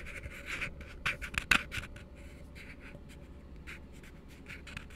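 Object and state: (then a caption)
Plastic cup, tapped and scratched. Fingertips and nails scratch and tap the side and base of an empty, hollow plastic cup resting open end down, making soft, bright, dry scratching and brief hollow taps. A cluster of sharper taps lands in the first two seconds, then lighter scratching continues quietly over a low, steady hum.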